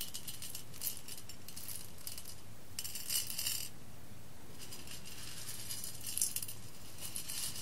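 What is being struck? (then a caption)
Whole roasted coffee beans on a glass plate. Fingertips with long red-painted nails stir, scoop and rake a pile of loose whole roasted coffee beans on a large embossed clear glass plate. The beans clink and rattle against the glass in bright, crisp bursts of clicks that swell and fade over a quiet low hum.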